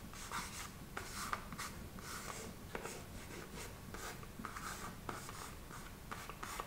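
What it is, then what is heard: Cardboard food box, tapped and scratched. A long red fingernail taps, traces and scratches across a small printed cardboard package of Tofumicato smoked tofu held in the hand, closed and likely full. Soft, dry scraping and rubbing fills the clip, broken by sharp, bright little taps that stand out from the steady scratching.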